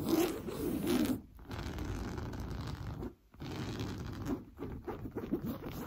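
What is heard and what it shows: Fingernails scratch and rub fast and hard across an orange coarse-weave fabric sofa cushion. The result is a dense, scratchy rasping texture, mostly in the low-mid range, with short pauses at about 1.3 and 3.2 seconds before the rubbing resumes in uneven bursts.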